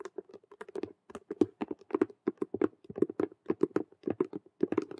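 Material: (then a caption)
Faux leather. Long nails tap fast on two sides of a hollow, glossy patent faux leather (vinyl) handbag shaped like a Rubik's cube with stitched colored patches. The result is a rapid, uneven stream of short, dry clicks with a hollow, low-mid knock around 300 Hz and bright ticking edges. Each tap dies away almost instantly.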